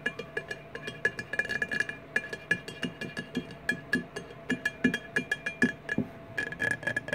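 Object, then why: Glass liquor bottle. Fingernails of both hands tap on a large, empty rectangular clear glass 1800 margarita bottle lying on its side. A quick, uneven series of light, bright clinks follows, each with a brief glassy ring and a faint hollow tone.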